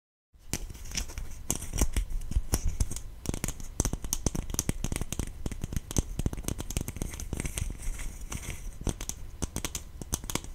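Long painted fingernails tap and scratch a small, hollow green plastic slime tub with a lid and printed label, held close to the microphone. A dense, steady stream of crisp clicks and scraping scratches with a soft low thump fills the clip, each tap dying away almost instantly.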